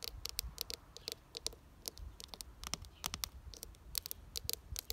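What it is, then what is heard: Plastic flower planter. Long dark nails tap and scratch the ribbed side of a pink-red plastic window planter box, hollow and filled with soil and geraniums. Many quick, dry, bright clicks arrive in irregular bursts with light scratching between them. The hits die away almost instantly, with little low-end body.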